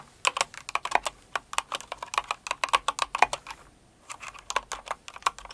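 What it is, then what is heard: Plastic mechanical keyboard. Fast typing with both hands and long acrylic nails on a Cinnamoroll-themed kawaii mechanical keyboard with plastic keycaps. It produces sharp, bright clicky key strikes in quick bursts, with a brief pause near the four-second mark before the typing resumes.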